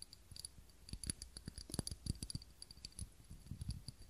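Fingernails tap the sides of a small clear textured glass cup holding a lit tealight candle, held close to the microphone. A quiet, irregular series of short, dry clicks has soft low thumps and faint bright glassy tones that barely ring.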